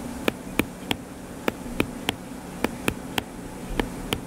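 Fingertips tap quickly on the cover of a closed, solid hardcover paper book lying flat, giving eleven short, dry, bright clicks with almost no ring. A steady low hum and faint hiss continue underneath.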